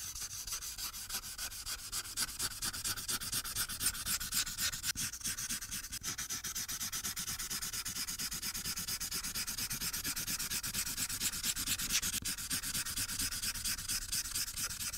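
A felt-tip marker held in the fingers rubs back and forth across a thin printed paper sheet on a clipboard, coloring it blue. It makes a steady run of quick, dry, bright scratching strokes with little low end, continuing evenly through the clip.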